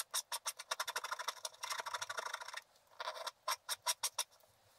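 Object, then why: Black-coated scratch art paper card. A wooden stylus scrapes cloud areas out of the coating on a flat, black-coated scratch art paper card. Quick, dry, bright scratching strokes come in a rapid run that blurs into a dense scrape. After a short pause, a few separate strokes follow.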